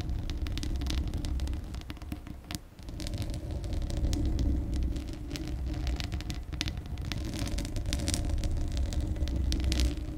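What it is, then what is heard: Metal mesh microphone grille being scratched. Long acrylic nails scratch the bare steel mesh grille of a large, hollow condenser microphone, with the hand partly covering the grille later on. The sound is a dense, deep rumble laced with fast, crackly scratching bursts that spray into bright hiss, briefly dipping quieter near the 2.5-second mark before resuming steadily.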